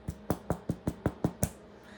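A freshly baked homemade bread loaf, just out of a 350°F oven, is knocked on with a quick, evenly spaced series of dull, low, hollow thumps that die away almost instantly. The hollow sound shows the bread is done.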